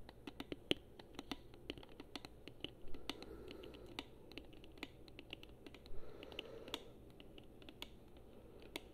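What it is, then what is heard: Hollow plastic game controller. A hollow gold chrome plastic Xbox controller, held in both hands, has its front and buttons tapped and scratched with long nails. Quick, light, clicky plastic taps come at an uneven pace, with brief bursts of soft scratching around the third and sixth seconds.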